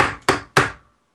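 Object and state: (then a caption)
Hard plastic action figure. A hard plastic Hulk action figure is tapped on a desk to show that it is hard plastic rather than rubbery like Captain America and Thor figures. A few sharp, bright knocks are heard, each decaying quickly.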